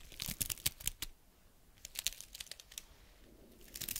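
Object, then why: Pine cone scales. Long red nails scratch a single small, dry brown pine cone with woody scales, held close to the microphone. Quick, bright, dry crackles come in bursts, like crinkling or tearing, with a quiet pause in the middle before the scratching picks up again.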